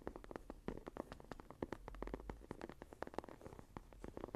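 Fingertips and long nails tap and scratch the cover of a closed, dark green textured leather journal. Quick, dry taps with almost no ring come in a steady, uneven stream, mixed with soft scratching. The sound is quiet and muffled, sitting mostly in the low-to-mid range with little high brightness.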